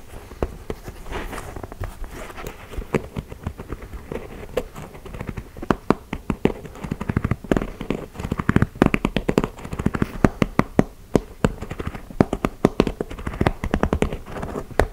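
Fingertips rapidly tap and scratch an empty white and grey leather high-top basketball sneaker (Jordan 4 style) held in the hands, working over both the leather and the sole. The result is a dense run of short, dry clicks and soft, low thumps that die away almost instantly, with a quiet scratchy texture between them.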